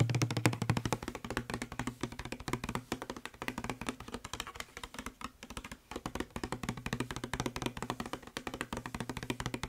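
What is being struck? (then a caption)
Plastic spray bottle. Fingertips and short nails tap fast on the labeled side of a hollow blue plastic spray bottle. The result is a dense, irregular stream of quick, dry clicks and knocks, with a hollow low resonance around 117 Hz and very short decay.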